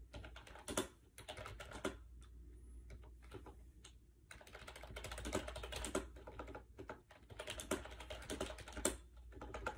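Fingertips type fast on the hollow plastic keys of a compact gray AJAZZ 308i wireless Bluetooth keyboard with round white keycaps, resting on a bed. The result is a dense stream of light, clicky taps in uneven bursts with brief pauses, over a faint steady low hum.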